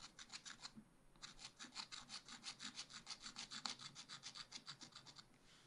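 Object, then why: Wax-coated scratch art paper scraped with a wooden stylus. A wooden stylus vigorously scratches and rubs the top ice cream scoops on a black wax-coated scratch art page in a spiral pad, revealing colour. Quick, bright, rasping strokes repeat at a fast rhythm, with a short pause near the start before the scratching resumes steadily.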